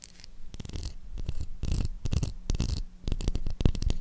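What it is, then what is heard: Bar of soap. Long acrylic nails tap and scratch across the face of a light blue solid bar of soap with an embossed logo. The result is a dense, irregular run of soft clicks and rasping scratches in quick bursts, with short pauses between them.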